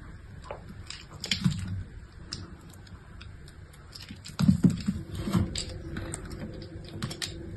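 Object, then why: Bar soap scraped with a metal blade. A metal utility-knife blade scrapes and shaves into the surface of a solid, palm-sized pink bar of soap held in one hand with long manicured nails. Soft, dense scraping and crisp little ticks run throughout, with louder crunchy bursts near the start and again past the midpoint. The sound is mostly low and muffled, with faint bright clicks on top.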